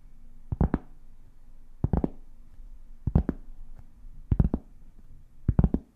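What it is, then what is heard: Cork board. Long painted fingernails tap a large, solid, round flat cork board held up in the air, scratching it between strikes. Five quick bursts of two or three dull, low knocks are heard. Each knock dies away almost instantly over a faint, steady scratchy rustle.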